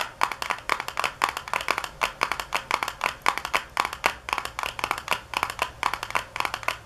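Long nails tap on the flat back panel of a small white paperboard box lying on a granite counter, the box hollow with contents inside. About 46 short, dry clicks come in uneven bursts of faster and slower taps. Each has a papery knock centered near 1 kHz with a bright edge, and it dies away almost instantly.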